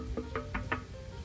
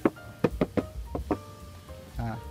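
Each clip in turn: First: metal motorcycle fuel tank knocked. Second: plastic-covered motorcycle fuel tank.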